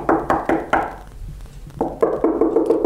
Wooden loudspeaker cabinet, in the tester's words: il n'y a pas non plus grand chose dedans